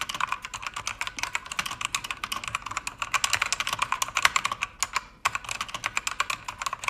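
Fast typing with fingertips and long red nails on a pink-backlit mechanical keyboard with plastic keycaps and an aluminum panel. A rapid stream of sharp, bright clacks is centered around 1 kHz, with almost no low end, and stops briefly just before the fifth second before resuming at the same pace.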